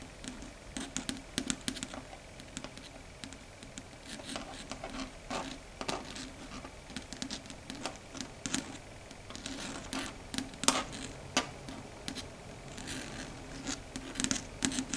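Long red stiletto nail tips tap and click on a flat, solid, dark grey chalkboard surface. The taps come quick and irregular, with sharp, bright attacks that die away almost at once, over a quiet steady low tone.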